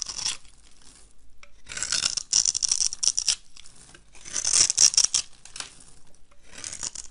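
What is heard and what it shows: A knife blade scrapes and chops crumbly cubes off a solid, rectangular, olive-green bar of dry soap that is scored in a grid pattern and held in the hand. Bright, dry, gritty scraping comes in several bursts separated by quiet pauses, with short crisp ticks as pieces break away.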